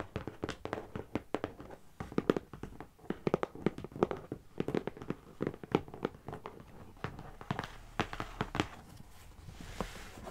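Long nails and fingertips of both hands tap rapidly and unevenly on the top and edges of a medium closed brown corrugated cardboard box. The box sounds hollow, with dry, papery knocks centered in the midrange that stop short with almost no ring. A soft, brighter rustle rises near the end.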